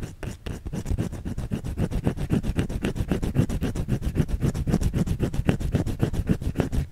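Long fingernails rapidly scratch a white solid bar of soap held in the hand, producing a steady run of quick, dry scraping strokes. Each short stroke carries a dull, low-heavy body with a brief bright hiss and almost no ring, repeating for the whole clip at a slightly uneven pace.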